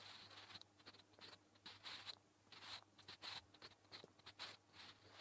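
A sharpened natural-wood graphite pencil, held in the fingertips, writes Korean letters on a flat grey lined notebook page resting on a surface. The result is quick, bright scratching strokes in short bursts with brief pauses between them, over a faint low hum.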